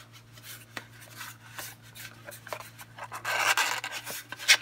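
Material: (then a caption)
Paperboard. A small, closed pink and black patterned Coastal bar soap box made of thin printed paperboard, with a bar of soap inside, is held in both hands and tapped and scratched with long painted fingernails, then pressed flat against a marble table, while metal rings on the fingers may click faintly. Soft, bright, dry scratches and light taps play over a steady low hum. The scratching swells into a louder, hissy scrape near the end and finishes with a sharp tap.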